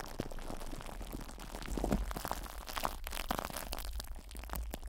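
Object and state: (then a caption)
Plastic-wrapped microphone grille being rubbed. A Blue Yeti microphone's metal mesh grille, wrapped in loose, crinkly cling film, is rubbed, squeezed and scratched by fingertips and nails with both hands. Dense crackling and crinkling fills the clip as many short, sharp scratches and rustles over a low, steady rumble. It swells louder in the middle and then eases back.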